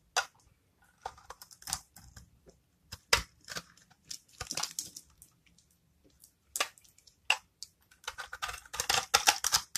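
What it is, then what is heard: Dry bar soap being cut. A metal knife scrapes and cuts small cubes off the surface of a hand-held, rectangular bar of dry, solid, amber translucent soap scored into a grid, and the crumbs fall away. Many short, crisp, bright scraping and crunching bursts sound with quiet gaps between them, growing denser toward the end, each dying out almost at once.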